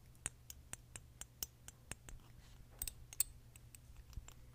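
A small, mostly full glass perfume bottle with red liquid and a metal or plastic cap is held in the hands and clicked and tapped with fingernails on its neck and cap. About seventeen sharp, quiet, high clicks and ticks die away almost instantly. A soft low hum runs underneath.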